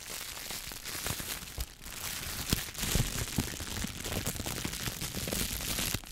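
A clear, thin plastic shower cap is bunched and rubbed between the fingertips, then held up by the edge and shaken. It makes a steady, bright crinkling and rustling with scattered sharp crackles that rise and fall irregularly throughout.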